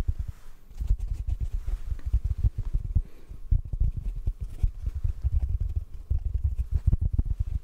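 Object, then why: Hand-sized foam sponge. A fingertip taps rapidly on a hand-sized yellow sponge held in front of a microphone. The result is a continuous stream of soft, muffled thumps with deep low-end weight, no bright or high content, and each tap dying away almost instantly.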